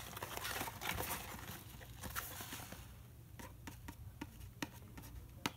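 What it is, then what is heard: Cardboard box being scratched and tapped. Fingertips and nails scratch and tap the printed surface of a small, hollow, rectangular Herbion Cold & Flu cardboard box, held in one hand and likely full of sachets. About three seconds of dense, papery scratching and rubbing give way to sparse, sharp, dry taps with almost no ring. The taps have a bright crack on top of a soft, low body.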